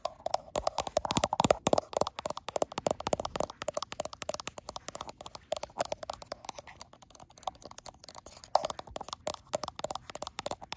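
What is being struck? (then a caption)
Glass smartphone back. Long acrylic nails tap rapidly on the frosted glass back of a gold iPhone Pro and around its camera bump. They make dense, crisp clicking taps with a mid-range tone and almost no ring, in bursts that speed up and slow down.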